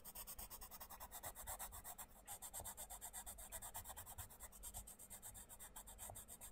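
The tip of a wooden colouring pencil scratches and rubs across a thin printed paper page of an open paperback colouring book, lying flat on a wooden table, as one hand holds the page down and the other colours in small shapes. Quick, steady back-and-forth strokes make a continuous dry, raspy scratching with a bright papery hiss and a soft low rumble beneath.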